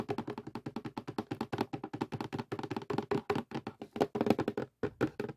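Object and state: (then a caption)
Cardboard puzzle box. Fingertips and nails of both hands tap quickly on the lid of a closed cardboard jigsaw puzzle box resting on a table. About 38 short, dry taps roll out in an uneven, rapid rhythm, each with a hollow, papery thud centered in the low-mids and almost no ring. A few taps near the end land harder than the rest.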